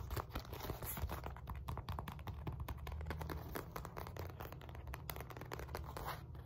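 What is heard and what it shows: Long nails rapidly tap and scratch the sides and face of a black padded synthetic leather focus mitt. The result is a dense stream of soft, dull taps mixed with dry, scratchy rustling, with most of the energy in low, muffled thumps.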